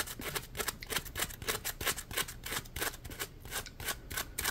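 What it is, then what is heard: Polymer foam scrub sponge. Fingertips squeeze, rub and scratch the ridged surface of a small yellow Scrub Daddy-style textured polymer foam sponge, soft and solid, held in both hands. The result is a quick, uneven run of dry, bright scratching bursts, roughly three per second, each dying away almost instantly.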